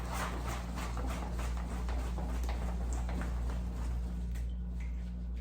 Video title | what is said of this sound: Saladzilla Salad Spinner by Kahuna Gear Unboxing, Demo and Review | I can hear it sloshing around